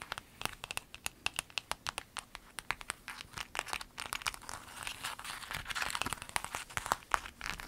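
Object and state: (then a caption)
Clear vinyl pencil bag, crinkled and scratched. A clear lemon-print vinyl zip bag is lifted and crinkled, then scratched with long nails. Sharp, dry crinkling snaps come in quick succession, bright and thin with almost no low end, then thicken into a denser rustling scratch toward the end.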